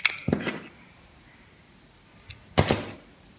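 A metal utility blade carves and slices chunks from a solid, pale green bar of dry soap held in the palm. Four crisp cuts are heard: two at the start, a faint one, then a final louder cut, each a bright scrape with a soft low thud that stops almost at once.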